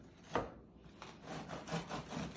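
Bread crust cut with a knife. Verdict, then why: Crisp. A knife cuts a loaf of bread in half, and its crisp crust gives a dry, crackling rasp as the blade saws through. A sharp crunch at the start is followed by a series of scratchy, crackling strokes.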